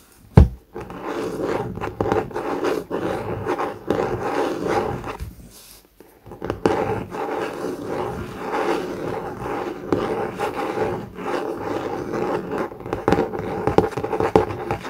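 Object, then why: Cardboard hardcover notebook. A thick blue COMIX hardcover notebook with a laminated cardboard cover and paper page block lies flat on a desk mat while the fingertips and short nails of both hands scratch and tap its top cover. A sharp tap near the start gives way to steady, dense, mid-pitched scratching that fades to near silence around five to six seconds, then resumes with occasional louder taps until the end.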